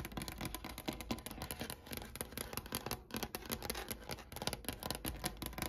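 Long painted nails tap rapidly with both hands on a large, solid wooden desk with a brown grained finish, set by a sunny window. The sound is a steady stream of short, dry clicks and knocks with a low woody thump beneath a bright, crisp edge, each tap dying away almost instantly.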